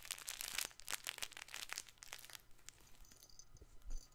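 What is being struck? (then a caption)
Stuffed fabric patchwork toy ball. Fingers scratch and squeeze a soft, stuffed fabric patchwork plush toy ball held up close to the microphone. Dense, bright crinkling and crackling bursts come fast in the first half, then thin out into quieter, scattered scratches over a faint low hum.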